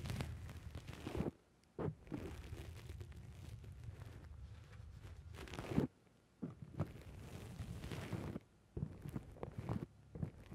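Fingertips pinch and squish a black foam dome windscreen on a microphone, making close, muffled, low-heavy crackling and rustling. The squishing comes in long continuous stretches broken by a few brief near-silent gaps, with sharper thumps where the foam is pressed harder.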